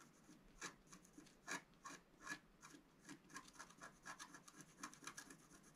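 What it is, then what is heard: Scratch-art paper scraped with a wooden stylus. A wooden stylus rubs and rasps repeatedly across the coating of a flat, wax-coated scratch-art paper sheet. It makes quiet, dry, scratchy strokes in quick bursts, bright and hissy with little low end, each stroke stopping almost at once with no ring.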